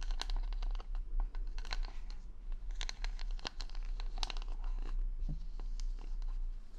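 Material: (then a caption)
Plastic. Long nails scratch the plastic rhinestone stickers covering the back of a wooden paddle hair brush with a handle, held close against the microphone. The clip is a dense run of crisp, bright scratching and clicking taps over a steady low hum, with no speech.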